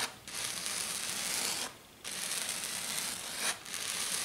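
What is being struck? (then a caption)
Glitter-coated foam sheet. Long dark nails rub and scratch hard and fast across a flat silver glitter sheet, probably glitter foam. The result is a dense, bright, hissy scraping noise in three sustained bursts separated by brief pauses, with almost nothing in the low end.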